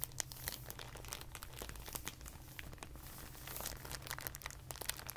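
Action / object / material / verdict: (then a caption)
scrape / rolled clear plastic bag / thin plastic / none. A clear plastic packaging bag, rolled into a tube, is squeezed and then rolled under fingertips on carpet. It makes dense, quick, bright crinkling and crackling over a steady low hum, with no single loud snap.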